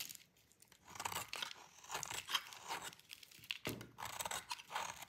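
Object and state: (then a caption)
Dry bar soap. A metal utility blade cuts through a solid bar of dry cream-white soap, making a series of bright, dry crunching and crackly tearing scrapes with almost no low end. Crumbly flakes fall off as the blade works through the bar.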